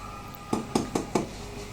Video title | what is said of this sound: Easy Easy Sourdough Bread for beginners | if you tap it with a wooden spoon, you hear this hollow sound that gives an idea that's full of air and it's very well done inside